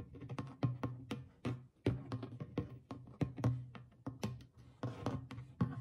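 Fingertips and long nails tap and lightly scratch the center of the stretched goatskin head on a small hollow clay drum. The result is a steady run of soft, low, hollow thumps with quick decays, some sharper and brighter where the nails strike. A faint scratchy texture fills the gaps between taps.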